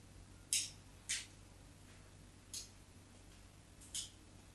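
A small solid white bar of soap, held by one hand on a patterned cloth, is scored and scraped with the metal blade of a craft knife held in the other hand. Four short, bright scratching strokes stand out at uneven intervals over a quiet background, each fading quickly.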